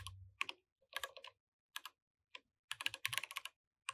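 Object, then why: Mechanical keyboard with plastic keycaps. Both hands type continuously with their fingertips on a compact mechanical keyboard with plastic keycaps. Bright, sharp key clicks come in short bursts separated by brief pauses, with a low thud under some strokes. Each click dies away almost at once.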